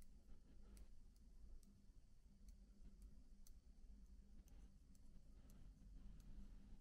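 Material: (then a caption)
Plastic. Fingertips lightly tap individual plastic keycaps on a MacBook keyboard, producing soft, scattered clicks with brief bright ticks. The taps sit over a steady low hum that makes up most of the quiet sound.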